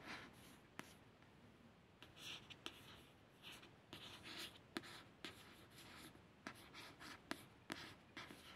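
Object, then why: Paperback book with glossy card cover. Soft, hissy scratching strokes with sharp little clicks as a fingernail traces lettering on a glossy card cover.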